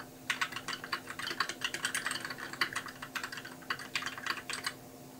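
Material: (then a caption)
Plastic. Fingertips type continuously on a compact white mechanical keyboard with plastic keycaps. The result is a steady run of sharp, bright clicks and clacks in quick uneven bursts over a faint steady hum, with a slight watery edge that may come from the switches. The typing eases off near the end.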